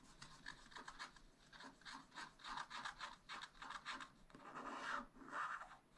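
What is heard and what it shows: A wooden stylus scrapes a black wax-coated scratch-art sheet in a spiral-bound pad with a quick run of short, dry, scratchy strokes. The rasping sits around 1.2 kHz with a bright hiss above it. It ends with two longer, louder scrapes.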